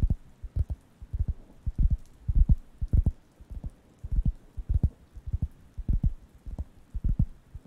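A round, flat, thin wooden (cork-like) solid coaster is held near the microphones and scratched and tapped with fingertips. The result is an uneven series of soft, dull, low thumps with almost no ring and nothing bright, coming at roughly 105 taps per minute with faint scratching between them.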